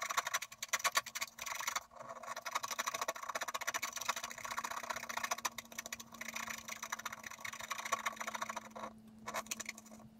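A wooden stylus scratches lines across the lower trunk area of a drawing on a thin, flat sheet of scratch art paper while the other hand holds the sheet flat. Dense, bright, rasping strokes run almost continuously, with brief pauses near two seconds and near nine seconds and a faint steady low hum underneath.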